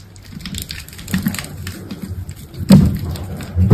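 A utility knife blade cuts cubes into a solid, hand-sized green soap bar and scrapes them off. Soft, low, crumbly scraping and cutting sounds build up, ending in two louder, duller cuts near the end.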